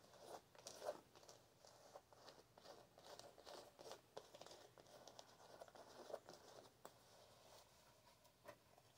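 Long nails scratch across the canvas of a blue canvas high-top sneaker with white laces and a rubber toe cap, held up in the air. Soft, dry rasping comes in quick, uneven bursts with bright hiss and a papery mid-range texture. Each stroke stops almost instantly, with no ring.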